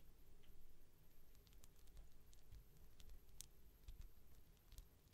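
Long nails scratch and tap the front and top of a palm-sized solid polyurethane foam toast squishy as it is turned in the hand. Quiet, soft scraping and light patter fill a low rumbling background, broken by scattered bright, sharp ticks.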